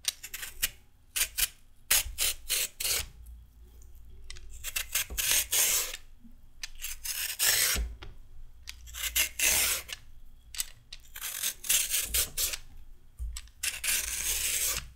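A raw carrot is scraped with a metal peeler, stripping off peel in quick repeated strokes. Each pass makes a bright, dry rasping burst that stops sharply, with short pauses between strokes and a faint low thud now and then.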